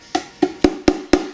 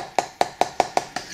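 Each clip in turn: First: solid MDF miniature arcade cabinet. Second: hollow, flimsy mini arcade cabinet.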